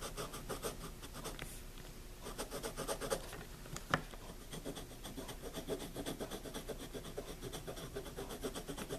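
A pencil tip is rubbed and scratched across the paper of a wire-bound spiral notebook resting on a table, using firmer strokes. The result is a steady, dry scratching texture with rhythmic rasping strokes throughout, and one sharp tick partway through.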